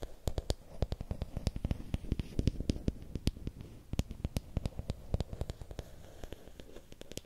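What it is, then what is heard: Bamboo stick. Fingernails scratch and tap along a long, thin, solid bamboo or wooden stick, heard up close. A quick, uneven run of short dry ticks with bright, crisp edges sits over a soft, low scratchy rustle that swells and fades across the clip.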